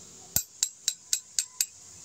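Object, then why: Aluminum airgun swing part. A T6 aluminum swing part for a Nimrod multi-shot is sounded six times for comparison with a T7 aluminum swing. Each strike gives a sharp, bright metallic clink with a very short ring that dies away almost at once.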